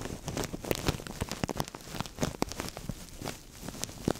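A thin translucent plastic bag over the microphone is squeezed, crinkled and tapped by fingertips with longish nails. Dense, crackling rustles are broken by sharp, dry taps and ticks, with a close, rumbling low end and bright crinkle on top.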